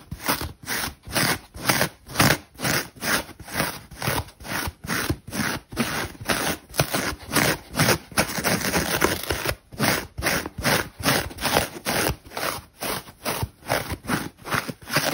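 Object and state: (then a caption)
Dry, crispy foam bath sponge. Long pink nails scratch and pick at the crispy white side of a dry, porous foam bath sponge shaped like a unicorn, held in one hand. About thirty quick, dry, crackling scrapes come at roughly two per second, bright and rough, with a longer continuous rasp around the middle. Small crumbs and a chipped-off bit come away near the end.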